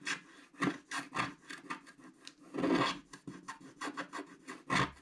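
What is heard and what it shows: A wooden stick stylus scratches across a flat black-coated scratch art card sheet over the reindeer area. It makes a series of short, dry, rasping strokes at an uneven pace, with a bright scraping texture and a few louder, longer passes.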